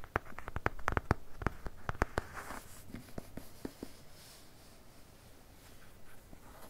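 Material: Cardboard.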